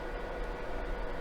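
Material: Nothing is struck.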